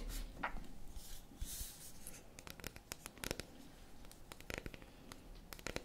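Long acrylic nails scratch and tap on a solid dark chocolate bar held in the hands. Soft, hissy scratching in the first couple of seconds gives way to a run of quick, sharp, bright clicks that stop almost instantly, over a faint low rumble.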